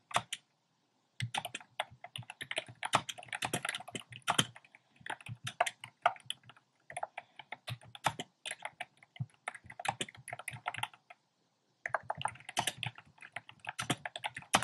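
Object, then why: Plastic mechanical keyboard. A compact plastic mechanical keyboard with round pastel plastic keycaps in a dark frame is typed on with fingertips and short painted nails. Rapid, dry, clacky keystrokes with a mid-range body and bright, crisp tops come in quick bursts, each click stopping almost instantly. There are brief pauses just after the start and again near the end.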